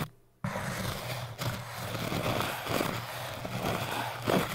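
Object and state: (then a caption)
Hard foam cylinder scratched. Fingers scratch and poke a tall orange hard foam cylinder with a thin metal needle and a crochet hook. After a brief near-silent start, a continuous dry, gritty scraping begins over a steady low hum, with a few sharper scratchy strokes standing out near the end.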